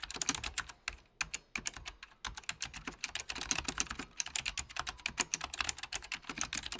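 Fingertips of both hands type on a full-size beige plastic Apple Extended Keyboard II with mechanical key switches. A rapid stream of bright, crisp key clicks with almost no ring is heard, broken by a couple of brief pauses near the start before the typing runs steadily on.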